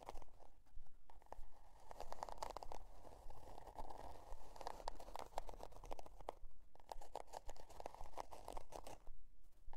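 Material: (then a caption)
Cardboard. Long, dark-painted almond-shaped nails scratch the stiff cardboard cover of a spiral-bound notebook, printed with a scale pattern and lying on white faux fur. The result is a quiet, steady stream of dry, crunchy rasping with a papery mid-range tone, broken by brief, sharp scratchy clicks in a loose, uneven rhythm.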